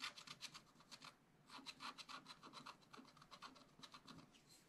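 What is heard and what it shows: A wooden stylus scratches steady strokes across a sheet of black coated scratch art paper lying flat on a table. The rapid, dry rasping strokes are bright and scratchy, with a brief pause about a second in before the scratching resumes.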